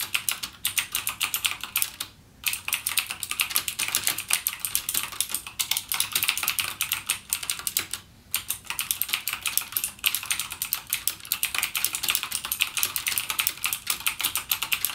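A backlit mechanical gaming keyboard with plastic keycaps and clicky Cherry MX Blue switches is typed on continuously by fingertips. Rapid, bright, crisp clicks run through the whole clip, with brief pauses near 2 and 8 seconds.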